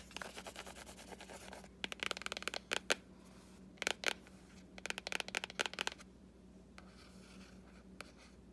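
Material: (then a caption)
Cardboard. A fingertip and a short nail trace and scratch over the illustration on the printed board cover of a solid hardcover book. A soft, continuous papery scratching opens the clip, then gives way to bursts of sharp, bright scratches and ticks. It settles into near quiet with a few isolated ticks over a faint steady low hum.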